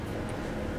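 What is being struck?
Nothing is struck.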